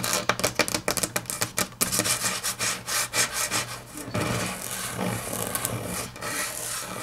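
Long natural fingernails tap quickly on a large, flat, solid grey wood-grain laminate tabletop for about four seconds, making sharp, bright clicks. They then switch to a continuous scratching and rubbing across the surface, giving a steady, hissy texture.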